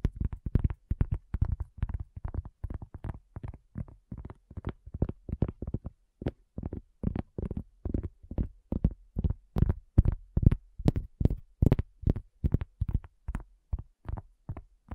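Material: Cork.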